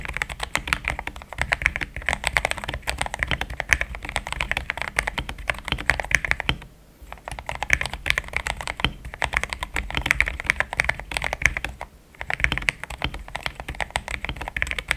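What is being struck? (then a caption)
Plastic mechanical keyboard. Fingertips of both hands type steadily on a compact pink-and-cream plastic mechanical keyboard with thick XDA-profile keycaps, Gateron Yellow switches and a polycarbonate plate, sitting on a desk mat. A dense stream of short, bright clacks with a soft low thud underneath runs almost continuously. Brief pauses fall near 7 and 12 seconds.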